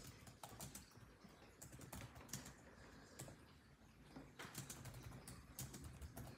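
Fingertips of both hands type rapidly on a built-in laptop keyboard with dark plastic chiclet keys set in a grey laptop body. Quick, crisp plastic key taps follow one another in an uneven run, each ending almost instantly, over a steady low hum.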